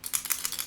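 A small die is shaken inside a small inner cup nested in a bigger closed cup during a magic trick, making a quick, bright rattle of clicks. The die knocks against the cup walls in short, dry bursts with almost no low end, and when the cup is opened the die shows five face up.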